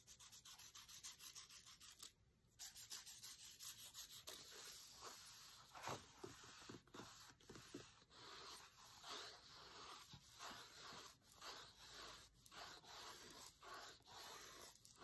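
A thin wooden skewer and fingertips trace and rub across the text page of a large open paperback cookbook lying on a marble table. Dry, bright, papery scratching comes in a steady run of short rubbing strokes, with a brief silent gap near two seconds.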